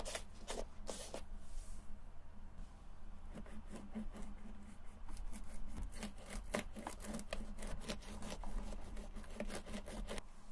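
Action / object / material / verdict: scrape / leather sneaker scrubbed with a sponge pad / leather / none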